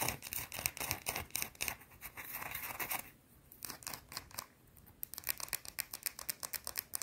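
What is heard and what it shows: Long blue-painted nails quickly scratch a small, solid, round white soap bar held up close, making a rapid run of short, bright, crisp scraping strokes. The strokes are loud and dense at first, turn softer and sparser in the middle, then return as fast, sharp scratches toward the end.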